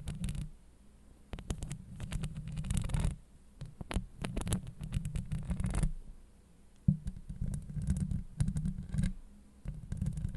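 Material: Steel mesh.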